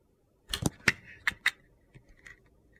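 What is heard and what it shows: A utility knife blade carves curled orange shavings off the edge of a solid rectangular orange soap bar with a dark glitter coating, held in hand. Five crisp, gritty scraping cuts sound in quick succession, bright and dry, followed by a few fainter scratches.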